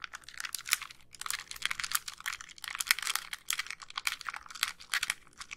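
Long nails tap and click across the front and buttons of a small white hollow plastic handheld game console. Rapid, crisp, bright plastic clicks and tapping come in uneven bursts, with almost no low end. Each click dies away almost instantly.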